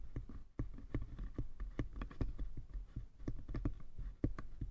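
Fingertips and nails tap and scratch the sides and lid of a small hollow wooden box. The result is a quick run of soft, dull taps with a low, hollow thump and a short ring, and faint scratching between them.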